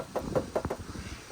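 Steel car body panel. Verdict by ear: Original.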